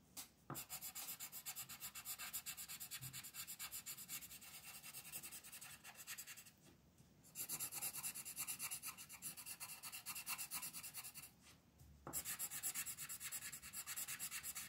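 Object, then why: Wooden coloured pencil rubbing on a paper sheet. A multicolor striped wooden pencil rubs quickly back and forth across a flat printed paper coloring sheet on a desk while the other hand holds the sheet steady. The result is a bright, dense, scratchy rubbing with rapid strokes, broken by two brief pauses.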